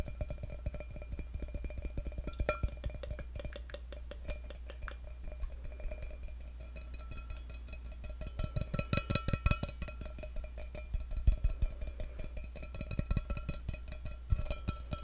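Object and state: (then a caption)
Stainless steel cup. A hollow, empty stainless steel tumbler is held over a microphone while fingertips tap its wall. The result is a fast, irregular stream of short, dry taps that die away almost at once, over a steady low hum and faint hollow ringing tones.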